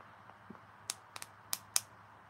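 A freshly applied acrylic pinky nail, the last one done, is tapped, giving a few short, bright, high-pitched clicks that die out almost instantly against a faint background hum. The nail is still drying, unlike the other nails, which are ready to be filed.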